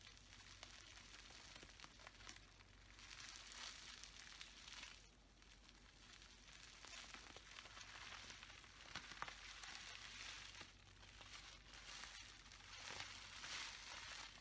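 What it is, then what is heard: Plastic bubble wrap crinkled by hand. Fingers crinkle and scratch clear plastic bubble wrap, first bunched up and then spread flat. A steady, bright, dense crackling rustle runs throughout, with small sharp pops scattered through it and faint low hum underneath.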